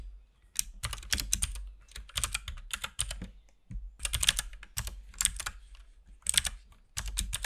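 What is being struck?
Plastic mechanical keyboard.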